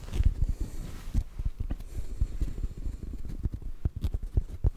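Fingertips tap quickly on a black foam microphone windscreen. The result is a rapid run of soft, muffled thumps that sit almost entirely in the deep low range, each dying away almost instantly with no ring.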